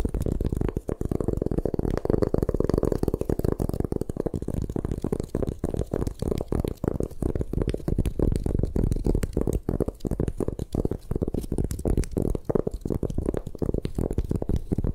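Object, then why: Magnesium carbonate gym chalk block. A palm-sized solid white gym chalk block (magnesium carbonate), held in both hands over a black table, is tapped and scratched on its surfaces by long manicured nails. A dense, continuous stream of dull, low, muffled taps and scratchy rubs with no ring carries through the whole clip.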